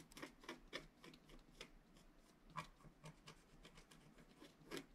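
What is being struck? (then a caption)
Black-coated paper scratch art card scratched with a wooden stylus. A wooden stylus scratches short strokes into the upper right area of a flat scratch art card, a black-coated paper board. Quiet, dry scraping rasps come in quick, irregular bursts, each with a bright, gritty edge and almost no ring, over a soft low hum.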